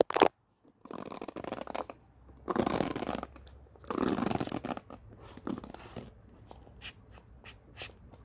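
Fingernails scratch and brush across the white-tipped bristles of a black plastic paddle hairbrush with a handle, lying on a wooden floor. A sharp click opens the clip, followed by longer, louder raspy sweeping strokes. These give way to shorter, quieter bristly flicks with bright, crisp edges.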